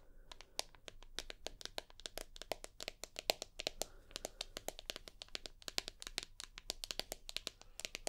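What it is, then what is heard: Glass-backed smartphone tapped with fingernails. Long nails tap rapidly and irregularly on the glass back and aluminium side edge of an iPhone. The result is a dense stream of sharp, bright clicks that stop almost instantly, over a faint low hum.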